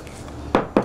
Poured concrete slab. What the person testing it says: No, this is hollow here, for sure. That's hollow.